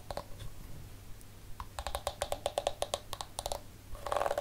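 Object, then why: Plastic detangling hairbrush. Fingertips scratch and flick the many pink flexible plastic bristles of a palm-sized detangling hairbrush. The result is a quick run of dry, snappy plastic ticks with a faint pitched ring around 570 Hz and bright overtones, over a low steady hum. The flicks speed up into a denser flurry at the end.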